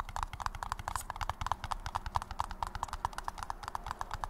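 A paper cup is tapped rapidly and steadily, producing a stream of short, hollow, clip-clop-like taps. Each tap sits around 965 Hz, with a dull low rumble underneath and almost no ring after each hit.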